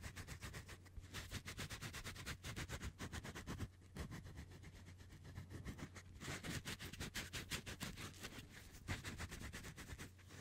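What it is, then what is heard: Metal microphone grille, tapped and scratched. Fingertips rapidly tap and scratch the bare, hollow, fist-sized metal mesh grille of a Blue Yeti USB microphone. The result is a dense stream of crisp, bright clicks and scrapes over a steady low hum, with brief quieter pauses between bursts.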